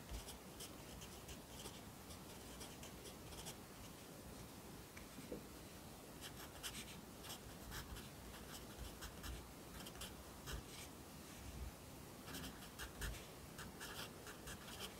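A yellow wooden pencil held in the fingers writes across the page of an open lined paper notebook lying flat on a desk, its graphite scratching on the paper. The quiet, steady scratching rises into short, bright strokes over a soft low background hum.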